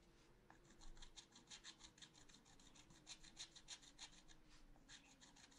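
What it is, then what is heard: Scratch art paper being scratched. A wooden stylus scratches rapidly back and forth across a black-coated scratch art paper sheet in a small spiral notebook. Quick, dry, bright rasping strokes come in an uneven rhythm of about three per second over a faint steady low hum.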